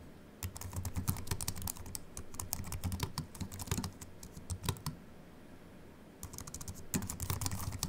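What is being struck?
Slim aluminium keyboard with plastic keys.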